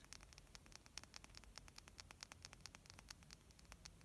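A small purple glass pigment jar, about nail-polish size, with a black plastic cap is held in the hands and tapped and scratched with long painted nails. Quiet, crisp, bright clicks come in a rapid, uneven run over a faint, steady hiss and low rumble.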